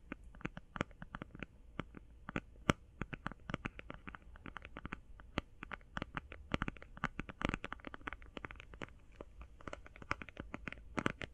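Fast binaural tapping on an eye shadow palette produces a dense, uneven stream of short, dry clicks with bright edges and almost no ring. The taps vary in loudness over a soft, low background rumble, with no voice.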